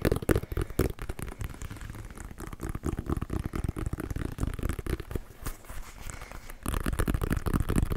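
A hollow, inflated brown pebbled leather American football is held in the hands and tapped and scratched with fingertips and nails. Rapid, dull, low thumps with a hollow resonance mix with soft scratching, each tap dying away almost instantly.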